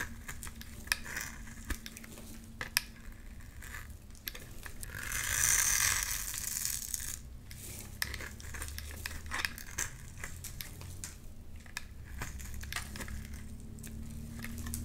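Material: Soap.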